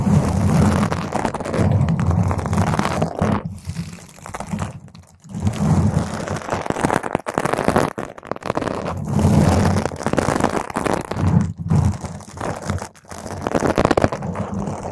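Long pointed nails scratch all over a round purple foam microphone windscreen while fingertips grip it. The result is a dense, heavy, low rumbling scratch with crinkly crackle, swelling and easing in long bursts with brief quieter gaps.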